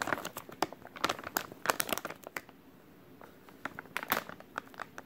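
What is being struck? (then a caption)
Soft plastic wet wipes package. A full white soft plastic wet wipes package is crinkled and rubbed with fingertips. Dense, sharp, bright crackles burst in quick clusters, ease into a quieter stretch of soft rubbing midway, then pick up again toward the end.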